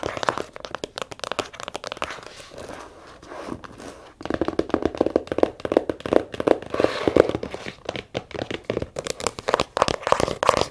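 Long nails rapidly tap and scratch the leather surface of a small brown zippered leather case held in the hands. Quick, dry, dull taps mix with soft scratching, easing into a quieter scratchy stretch before the tapping picks up again, louder and denser.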